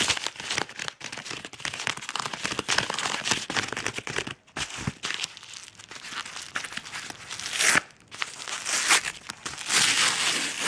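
Fingers rapidly scratch and crumple the corner and surface of a yellow Amazon kraft paper padded mailer envelope. The result is a dense, bright crinkling and scratchy rustle made of quick, uneven bursts. There are brief pauses and sharper crunches near the end, with almost no low end.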